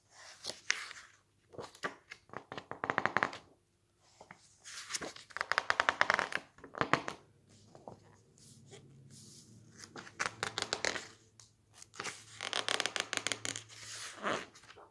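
Fingertips rapidly riffle and squeeze the thick glossy pages of a cookbook lying on a stack of magazines, producing bursts of crisp, bright paper rustling and crinkling. The bursts come in several separate clusters with quiet gaps between them, and a faint low hum lies underneath.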